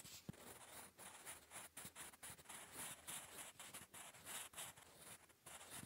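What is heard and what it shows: A blue wooden graphite pencil scratches across a grey lined notebook page while writing cursive English, giving a steady, bright, papery scratching. Quick strokes come in irregular bursts with brief gaps between words.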